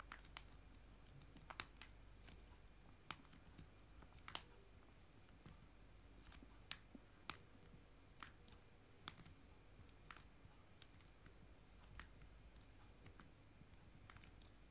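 Two joined, full, small foil-laminated disinfectant wipe sachets are held up in both hands and tapped with dark painted fingernails. The result is quiet, sharp, bright clicks at an uneven pace over a soft, steady low hum.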